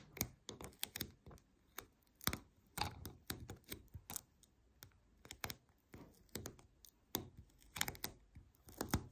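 Long nails tap and scratch along the paper roll of a white adhesive paper lint roller with a plastic handle lying on a table. About 27 sharp, dry, bright clicks come in uneven bursts, with soft papery scratching between them. Each tap dies away almost instantly.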